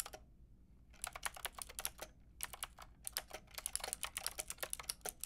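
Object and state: Plastic mechanical keyboard being typed on.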